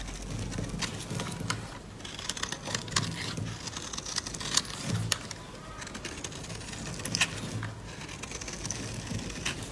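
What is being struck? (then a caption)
Bar of soap scraped with a blade. A utility-knife blade cuts and scrapes flakes off a solid pink dry soap bar held in the palm. Quick, dry, bright scratches and crisp crackling snaps come in irregular bursts over a faint low rumble.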